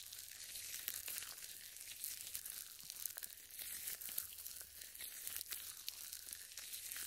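Purple nitrile gloves, glossy with lotion, are rubbed together above a microphone with the fingers interlaced. The result is a steady, quiet stream of bright, wet crackling and sticky crinkling, with short sharp snaps scattered throughout and almost no low end.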